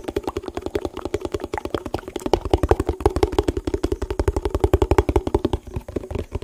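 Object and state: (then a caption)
Empty plastic tub. Fingertips and nails rapidly tap and scratch a hollow, empty, yellow printed plastic food tub held in the hands. The result is a fast, dense stream of short, dry clicks and taps, each with a hollow, boxy tone around 400 Hz and a soft low thump, and the taps grow louder partway through.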